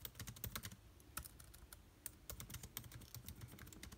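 Fingertips type continuously on the black plastic keys of a silver aluminium laptop keyboard. A quick, uneven run of short, dry clicks with soft low thumps and bright key clatter fills the clip, each tap dying away almost at once.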